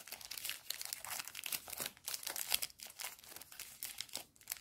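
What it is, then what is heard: Plastic candy wrapper. A small pink plastic-film candy bar wrapper is held in both hands by fingertips with painted nails, crinkled and rubbed, then torn open. Dense, bright crackles and crinkles come in quick, uneven bursts with almost no low end and no ring after each one. The sound stays fairly quiet and close throughout.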